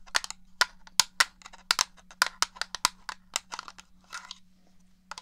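Long nails tap and click on the shell of a black, hollow plastic original Xbox controller held in one hand. A rapid, irregular string of sharp, bright plastic clicks rings only briefly, with a faint steady low hum underneath.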